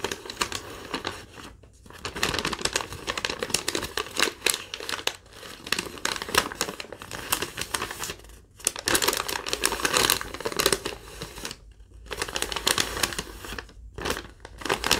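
A single thin sheet of yellow lined legal-pad paper, held up in both hands, is crinkled and bent with fingertips and long nails, becoming more wrinkled. Dense, bright crinkling and crackling come in bursts separated by brief quiet pauses.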